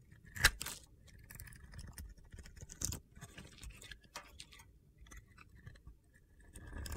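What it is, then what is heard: Glitter-coated soap bar being scraped. A metal blade scrapes the top of a solid soap bar held in hand; the bar is coated in blue and purple glitter with a teal interior. A sharp click opens the clip, followed by quiet, gritty scraping with bright crackly ticks as flakes come away, and a second louder scrape near the middle. The sound builds slightly toward the end.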